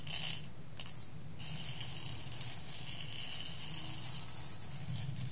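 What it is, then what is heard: Roasted coffee beans stirred in a glass bowl. Roasted coffee beans in a clear glass bowl are stirred by fingers with long red nails and handfuls are dropped back down. The result is bright, dense rattling and clinking, with a few louder bursts near the start and a steady, softer rustle afterward over a low background hum.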